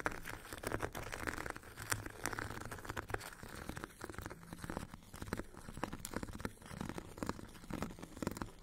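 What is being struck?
Foam foot file with abrasive grit surface, scraped with a metal stick.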